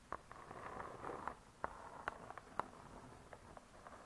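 Long nails tap and scratch the cardboard cover of a spiral-bound hardcover cookbook. About a dozen quiet, dry, irregularly spaced taps sit over a soft, continuous scratching hiss, all centred in the midrange with little low or high content.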